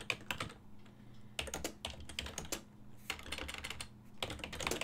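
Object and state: Plastic computer keyboard being typed on.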